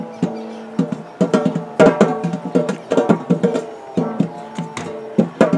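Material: Metal.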